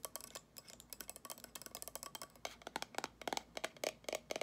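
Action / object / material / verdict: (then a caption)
tap / glass candle jar with metal lid / glass, metal / none. Long acrylic nails tap and scratch on the gold metal lid, printed with a pumpkin pattern, and the glass of a small amber jar candle filled with solid wax. About 25 quick, sharp, bright clicks come in an uneven run, quiet and dry with almost no ring. The later taps carry a faint glassy ping near 800 Hz.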